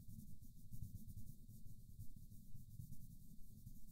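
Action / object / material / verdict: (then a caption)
scrape / wooden colored pencil on a paper coloring book page / paper / none. A green wooden colored pencil scratches and rubs back and forth in small strokes across a flat paper coloring book page while the other hand steadies the book. The result is a quiet, continuous low rubbing with a faint high, papery hiss, rising and falling in a loose rhythm of a little over two strokes per second.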